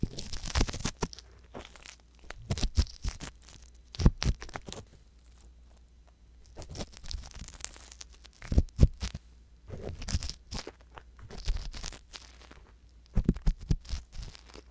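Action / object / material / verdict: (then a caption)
scrape / silicone ear on a binaural microphone / silicone / none. An ear pick scratches inside the canal of the right silicone ear on a binaural microphone. Close, crunchy scratching and tearing-like scrapes come in bursts with quiet pauses between them, carrying bright crackle over a steady low hum.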